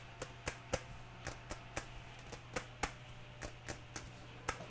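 Long nails tap a medium-size, apparently full white plastic PVA glue bottle with a red cap, held in one hand. Fourteen short, dry clicks sound at an uneven pace over steady background rain and a low hum. Each tap dies away almost instantly.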